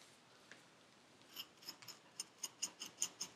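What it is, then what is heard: Kinetic sand in a paper cup being scraped. A metal needle tool scrapes and digs into purple kinetic sand packed into a paper cup. There are ten quiet, bright, crisp scratching clicks with almost no low end, sparse at first and then coming closer together and louder toward the end.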